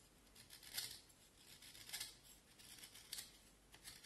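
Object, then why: Vine wood stick carved with a small knife. A small knife carves and scrapes the end of a solid, pale piece of vine wood held horizontally in both hands. Quiet, bright, high scraping strokes rise and fade at an uneven pace, with only a faint low rumble underneath.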